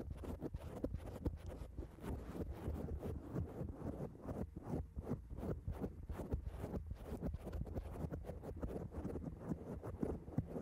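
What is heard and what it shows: Long acrylic nails of both hands scratch and tap on a black foam microphone cover. The result is a dense, continuous stream of soft, muffled, low-heavy crackles and thumps with quick short taps throughout.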